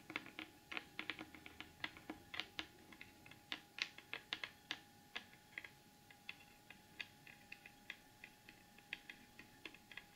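Long acrylic nails and fingertips tap and scratch the lid of a large, flat, closed cardboard gift box covered in gold glitter paper, rigid and hollow underneath. The sound is a quiet, steady stream of quick, bright, dry clicks with very short decay and faint scratchy texture between them. At the end, the hands lift toward the edge of the box.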